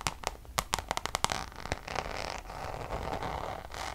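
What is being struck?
Coated canvas pouch tapped and scratched with nails.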